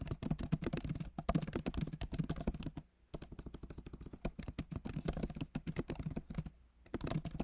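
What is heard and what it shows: Both hands type steadily with their fingertips on a backlit MacBook Pro Magic Keyboard, which has plastic keycaps set in an aluminum body. The result is a dense run of soft, muted key taps with a low thump under each press. There is a brief pause near the three-second mark and another just before seven seconds.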